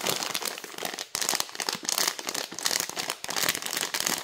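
Long nails quickly tap and scratch across the front of a clear plastic bag full of dry fusilli. The result is a dense, bright crinkling and crackling with almost no low end, broken only by brief dips just after one second and around three seconds.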